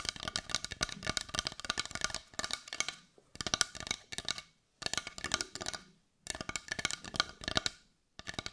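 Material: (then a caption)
Wood. Long white nails tap rapidly on a brown carved wooden heart with a rough, grainy surface that looks solid. Quick runs of dry, bright clicking taps stop dead with almost no ring, broken by brief pauses between bursts.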